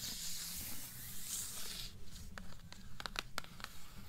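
Long nails scratch across the glossy paper dust jacket of the hardcover book "Beautiful Darkness," held upright, making a bright, airy hiss for about two seconds. The nails then tap the glossy front cover six times in quick, sharp, dry clicks over a faint low rumble.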